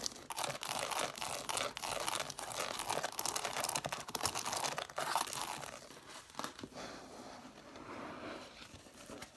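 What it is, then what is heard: Stack of cloth-bound hardcover books. Long nails tap and scratch quickly along the page edges and red cloth covers of a stack of cloth-bound hardcover books. Dense, bright, crackly scratching and tapping fill the first six seconds. The sound then drops to a quieter, softer scratching until the end.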